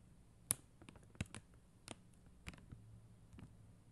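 Long mint acrylic nails tap and scratch a flat sheet of clear and blue plastic rhinestone stickers on white backing, lying on a glitter surface. Seven short, sharp clicks with a bright, high edge sound at loose, uneven intervals over a low, quiet background hum, each dying away almost instantly.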